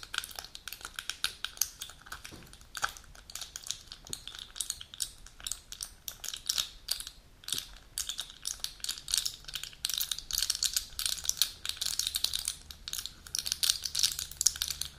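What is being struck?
Aluminium foil blister pack.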